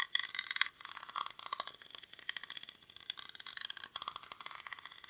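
Fingernails scratch the weave of a small, hollow woven rattan or reed basket held in both hands. The result is a dense run of quick, dry, crackly scrapes and ticks, bright and high with almost no low end. The scratching comes in uneven bursts with brief quieter gaps.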